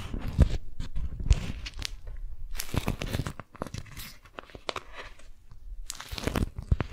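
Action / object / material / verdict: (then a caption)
scrape / beeswax-coated cotton wrap / waxed cotton / none. A strawberry-print, beeswax-coated cotton food wrap is bunched in the hands as fingers and long nails grip, twist and crinkle the waxed fabric sheet. Dense, continuous crinkling and crackling comes in quick, dry bursts over a heavy low-end rustle, with brighter crisp edges on the sharper crunches.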